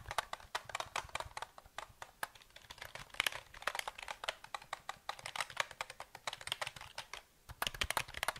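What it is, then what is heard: Plastic mechanical keyboard. A black plastic KLIM mechanical keyboard with a metal-grey frame and hollow housing is held in both hands while fingertips tap and type on its keys. The result is a quick, irregular stream of sharp, bright clicks that die away instantly, with a hollow plastic character and almost no low end, plus a brief pause near the end before the typing resumes.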